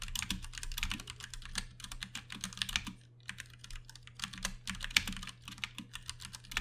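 Fingertips of both hands type steadily on a compact 60% backlit Ducky One 2 Mini mechanical keyboard with Cherry MX Brown switches and plastic keycaps. Dense, quick clacks sound bright and short, with a brief pause near the three-second mark, over a steady low hum.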